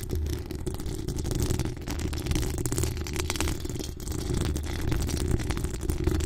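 Long acrylic nails on both hands scratch a hollow metal mesh microphone grille. The result is a steady, dense stream of quick rasping scrapes with a heavy, boomy low rumble. There is only a faint bright hiss on top.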